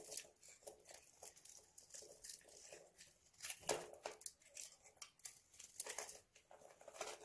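A utility knife blade scrapes and cuts into a hand-sized, solid oval bar of dry soap, held in the hand and coated in purple-white nail polish, shaving off both the coating and the soap. The result is a quiet run of dry, bright, crunchy scraping strokes with short crackling bursts and almost no low end.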